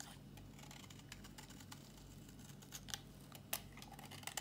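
A solid, dry pink bar of soap held in the hand is scraped with a metal box-cutter blade, giving quiet, irregular dry scratching and crisp, bright clicks over a low steady hum. A few sharper scrapes stand out near the end.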